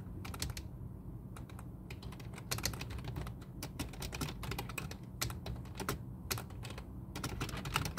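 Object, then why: Plastic computer keyboard. Both hands type with their fingertips on a full-size black plastic computer keyboard resting on a desk. The result is a fast, uneven stream of short, bright key-press clicks that die away almost instantly, over a steady low hum.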